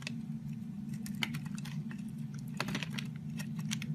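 A metal box-cutter blade shaves thin layers off the edge of a solid purple oval bar of soap held in the hand. Quick, crisp scraping ticks and brittle crackles come in bursts, bright and dry, over a steady low hum.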